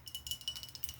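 A Clearly Canadian sparkling water bottle is tapped repeatedly with light, quick taps. Each tap gives a bright, quiet clink with very short ring, over a faint steady high tone near 3 kHz.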